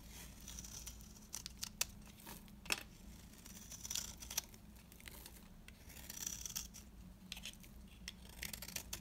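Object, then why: Bar of soap cut with a blade. A beige, dry, oval bar of solid soap is held in the hand and carved and scraped with a box-cutter blade, peeling off curls. The audio is quiet, with bright, dry scraping and crisp crackling, broken up by sharp little snaps. The clicks are short and don't ring, and a faint low hum sits underneath.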